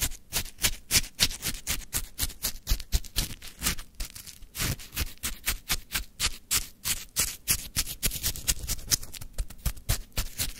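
A wooden stick digs and scrapes into a full plastic cup of crunchy lemon frozen shaved ice, close up. About fifty quick, uneven crunching scrapes follow one another with no ringing after each one. Each scrape is a short, bright crackle over a soft low thud.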